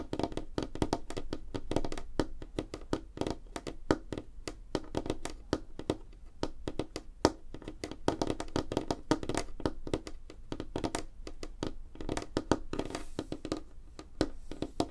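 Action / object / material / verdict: tap / wooden tabletop / wood / none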